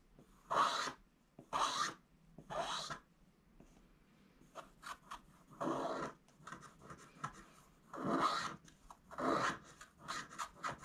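A wooden stylus scratches the last areas of coating off a thin, flat coated scratch-art card while curled flakes build up. Broad, raspy scraping strokes reaching into bright highs alternate with clusters of quicker, shorter scratches, with brief quiet pauses between them.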